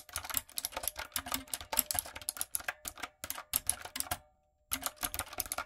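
Long coffin nails and fingertips tap and type on the round plastic keycaps of a medium-size, retro typewriter-style backlit mechanical keyboard with a dark frame. Rapid, bright clicky keystrokes with sharp, dry attacks come in quick bursts, with a brief silent pause near the end before the typing resumes.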